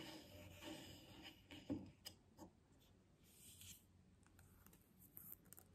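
Long nails scratch and tap a medium glass jar full of white body butter, with a bamboo lid and paper label, both while held and resting on a table. Soft, dry rasping scratches alternate with a few sharper clicking taps that die away quickly. The overall sound is quiet and close.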